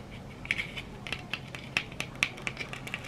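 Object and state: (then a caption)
Glitter-coated plastic egg. A hand-sized yellow plastic egg with a glitter-textured surface, likely hollow and held in one hand, is scratched and rubbed with long red acrylic nails. A quick, irregular series of dry, bright clicks and scratchy ticks sounds over a faint hiss, each one very short with almost no ring.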